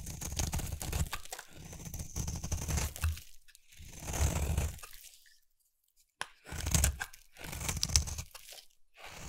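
A utility knife blade carves a solid oval lilac bar of purple soap, giving off crunchy flakes. Dense, crackly scraping comes in several strokes with a low, thudding body and a bright crisp edge. There is a brief silent pause before the final strokes.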